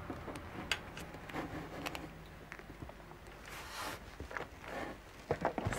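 An assembled black and dark green plastic dragon figure, hand-sized and mostly solid, stands on a white table while long, curved natural nails scratch and tap it. Dry, rasping scratches alternate with sharp, bright clicks that stop almost instantly, with a brief cluster of quick taps near the end.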